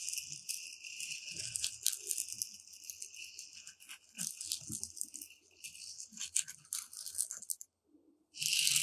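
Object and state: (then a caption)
Dry uncooked rice grains. Two thin pointed metal rods are poked and stirred through loose, dry, uncooked white rice in a shallow tray. The grains give off a dense, bright rattling hiss with crisp clicks and ticks. Near the end it drops to a brief silence before a louder, sustained burst of rattling.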